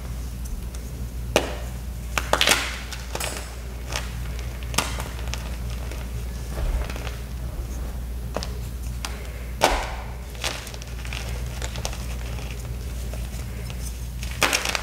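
Small solid white gym chalk blocks coated in black powder are crushed and crumbled in both bare hands above a heap of chalk fragments. Sharp, bright cracks and crunches break out over a steady low hum, followed by soft gritty crumbling and trickling fragments.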